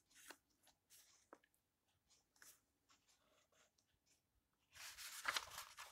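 An old book with yellowed paper pages lies open while a flat hand with long nails rubs across a page, making soft, dry, broadband scratching and brushing strokes that sit mostly in the high range. Near the end the pages are turned, giving a louder, sustained papery rustle and flutter. The whole clip is quiet and close.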